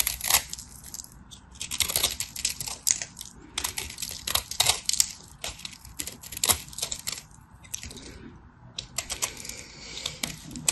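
A craft knife cuts chunks off a solid, hand-sized white bar of dry soap, and flakes fall away. The clip is a rapid, irregular series of crisp, bright scraping and crackling cuts with almost no low end and no ringing, separated by brief quiet gaps.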